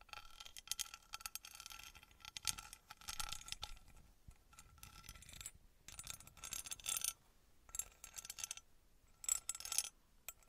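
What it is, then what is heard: Small metal pyramid. Long nails tap and scratch a small engraved copper-colored metal pyramid held close to the microphone. The result is bright, dry clicking and scraping in irregular bursts separated by brief quiet gaps, with a faint steady metallic tone and almost no ring after each tap.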